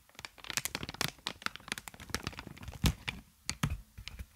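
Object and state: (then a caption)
Plastic air-column packaging. Clear plastic inflated air-column wrap with hollow tubes is held upright in front of a microphone and tapped and squeezed with long nails and fingertips. A rapid, uneven run of sharp crinkling taps and crackles is heard, with bright plasticky clicks over dull low thumps. One louder hollow pop lands near the middle, and every sound dies away almost instantly.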